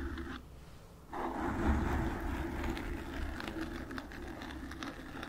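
Long nails scratch and tap on a black foam microphone windscreen, making a muffled, low rumbling rustle with soft scattered taps. The sound is quieter for the first second, then swells louder and stays dense and scratchy, easing slightly toward the end.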